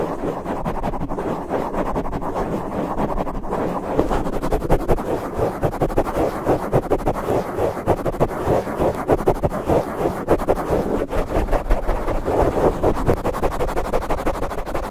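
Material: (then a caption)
Foam. Fingertips scratch and rub the soft black foam windscreen covering a large microphone. The result is a dense, muffled scratching and rustling with strong low rumble, quickening into rapid, uneven strokes after the first few seconds, with little high-end brightness.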